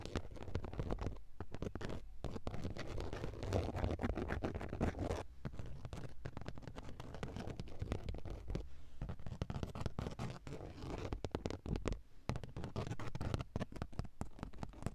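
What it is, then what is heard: Fabric car seat upholstery. Long acrylic nails scratch and tap on the grey woven fabric of a padded car seat, a soft surface. The result is a steady, muffled, low-heavy rustle of rapid scratches and soft taps, with a few brief pauses.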